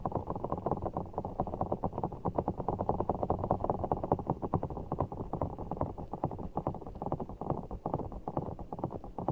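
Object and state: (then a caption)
Giant water-bead (orbeez) ball, squeezed and scratched. Fingertips squeeze and scratch a large, full, soft ball of blue water gel beads in a clear rubber skin held over the mic. The result is a dense, steady stream of short, soft squishes and crackly taps, mostly low to mid in tone with almost nothing bright. The sound stays fairly even throughout.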